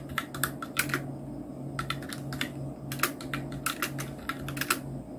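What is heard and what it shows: Fingertips of both hands type on a full-size black Nubwo Illusion NK-70 mechanical keyboard with Outemu red switches, round plastic typewriter-style keycaps and blue backlight. Bursts of sharp, bright plastic key clicks come in uneven runs over a steady low hum.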